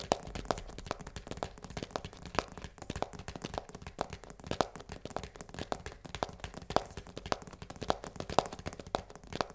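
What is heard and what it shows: Long nails rapidly tap and scratch the narrow side panel of a full cardboard pasta box held on its side. The result is a steady stream of quick, dry, crackly clicks with a papery mid-range tone and no ring, over a faint rustle of scratching.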